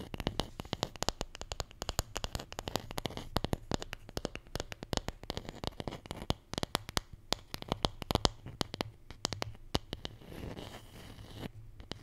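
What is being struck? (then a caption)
Small wooden letter tile. A wooden Scrabble letter tile, the J, is tapped and scratched in a rapid run of many short, sharp clicks that die away almost at once, over a faint low hum. Near the end the taps thin out into a softer, hissy scratching before a few last clicks.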